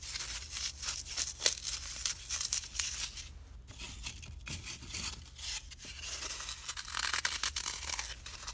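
A small, solid piece of green dry floral foam is held close and crushed, pinched and torn by fingertips with blue-painted nails. It gives off dense, bright crumbling and crackling with quick scratchy bursts, briefly quieter in the middle before building again.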